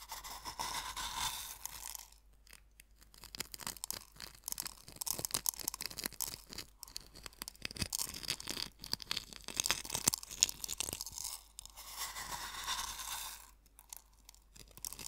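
Fingertips grind and scratch coarse sea salt against the bottom of a small wooden bowl, producing dense, bright crunching and scraping with many quick irregular grains. Softer hissy rubbing stretches from the start to around 2 s and again from about 12 to 13.5 s, with short quiet pauses in between.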